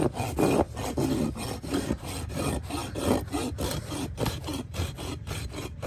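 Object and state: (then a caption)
Horse hoof being rasped. A steel farrier rasp is drawn in repeated strokes across the wall and sole of a trimmed horse hoof of solid keratin horn, held upturned between the farrier's knees. Each pass gives a coarse, gritty scraping rasp with a low, rough body, in a steady back-and-forth rhythm.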